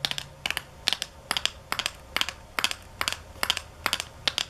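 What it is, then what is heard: Paperboard box with plastic window. Long nails tap on a small, hollow paperboard nail-art box and on its clear plastic window, which shows decorations inside. Quick clusters of two or three sharp, bright, clicky taps repeat at a steady pace. Each tap is dry and stops at once with almost no ring and very little low end.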